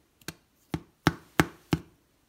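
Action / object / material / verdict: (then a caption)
knock / loaf of homemade bread / bread crust / hollow. Five hollow knocks on the underside of a turned-over loaf of homemade Dutch oven bread, each a short dull thud with a quick decay. The hollow sound shows the bread is baked through and done.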